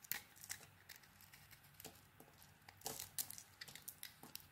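A metal blade carves a solid green textured bar of soap, scraping off chunks. A quiet, irregular series of short, bright, crisp scraping and crackling strokes is heard, each dying away almost instantly with little low end.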